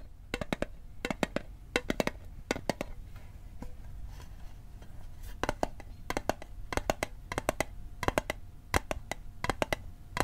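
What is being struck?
Small metal mint tin.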